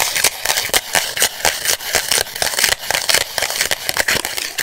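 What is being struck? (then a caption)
Plastic-coated instant photo print. Long white acrylic nails scratch and rub the edge and face of a small, flat paper-and-plastic polaroid instant photo with a white frame and a purple image. The result is a rapid, irregular run of dry, bright scratching and clicking strokes with almost no low end, each stopping instantly without ringing.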